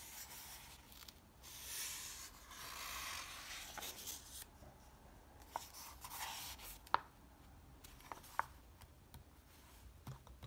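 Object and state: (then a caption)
Paper comic book pages. Fingertips rub across the thin pages of an open softcover paper comic book, then lift and turn one page. Soft, breathy rubbing swishes with bright, airy texture are heard, broken by a few sharp, crisp paper ticks as the page is handled, all at a quiet, close level.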